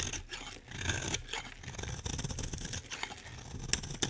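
A solid, dry green bar of soap held in the hand is carved with a metal utility blade. The result is a steady run of crisp, bright scraping and cutting sounds with a soft low rumble underneath. Near the end comes a sharp, high click.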